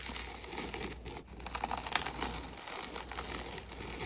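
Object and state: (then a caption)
Crumbled dry gym chalk. Gloved hands scoop and crumble dry pinkish red gym chalk powder over a plate, letting it pour down. A steady, dense crinkling and gritty crumbling is heard, with soft pattering and a few brighter crackles near the middle, over a faint low hum.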